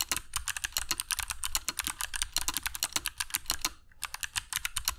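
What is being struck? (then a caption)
Mechanical keyboard with plastic PBT keycaps. Fingertips of both hands type continuously on a compact black mechanical keyboard with dark PBT plastic keycaps and Kailh Box Jade switches, resting on a cork desk mat. About 36 sharp, bright clicky keystrokes sound in a rapid run, each decaying almost instantly, with a brief pause just before the typing resumes near the end.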